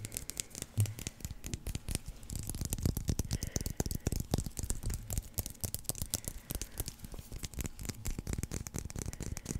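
A solid white leather baseball with red stitching is held in one hand and scratched and tapped with fingernails. Dense, rapid, dry clicks and scratchy rasps run throughout, with soft low thumps under them and almost no ring after each tap.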